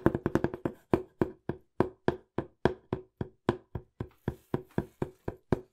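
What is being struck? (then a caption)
Corrugated cardboard box. Fingertips and nails tap fast on the flat face and edges of a small, hollow, empty-looking brown corrugated cardboard box held in both hands. Twenty-five short, dry, hollow knocks with a low-mid woody tone: a quick cluster at the start, then a steadier, slower run of taps. Each hit dies away almost instantly.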